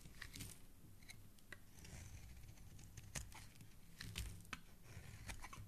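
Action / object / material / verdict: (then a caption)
scrape / bar of soap / soap / none. A dark blade shaves and scrapes a solid, hand-sized white soap bar, held by fingers with dark painted nails, into flakes. Quiet, crisp scraping strokes and sharp, bright crunchy cuts repeat irregularly over a low, steady rumble.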